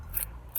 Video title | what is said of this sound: Discovering your soil type | i think there's definitely some sand there it's very crunchy